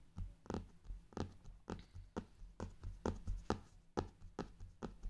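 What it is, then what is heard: Faux leather hardcover notebook. Fingertips with painted nails tap and drum on the cover of a brown faux-leather hardcover journal, lying flat on fabric, around its gold clock emblem. The result is a quick run of soft, dull, low-heavy taps that die away almost instantly, with a few sharper clicks among them.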